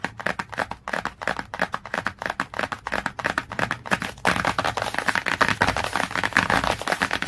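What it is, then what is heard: Glossy cardboard hardcover book. Fingernails tap quickly on the same glossy cardboard cover of a hardcover book, making a rapid run of crisp, dry clicks with a papery mid-high tone. After about four seconds the tapping turns into denser, continuous scratchy tapping that fills the gaps with a brighter rasp.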